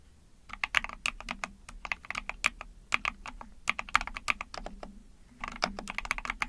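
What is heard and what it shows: Rapid typing with long painted nails and fingertips on a small Epomaker TH40 44-key mechanical keyboard with an ABS plastic case, PC plate, pink and white keycaps and backlighting. Dense runs of short, sharp, bright plastic clacks fade almost instantly. A brief pause comes near the end before the typing resumes.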